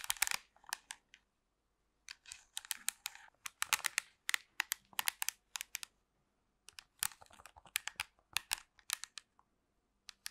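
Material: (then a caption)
Plastic. Long pink nails tap and scratch a black plastic TV remote control with colored buttons, held close to the microphone. Quiet, bright, dry clicks and scratchy rasps come in quick clusters, broken by short silent pauses.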